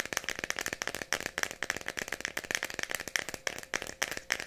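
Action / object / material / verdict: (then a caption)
tap / small plastic pill bottle with ridged cap / plastic / none. Long nails rapidly tap and scratch the red ridged cap and label of a small Tylenol plastic bottle holding pills. The result is a dense run of crisp, bright clicks and scratchy rasps with almost no low end, each tap dying away instantly.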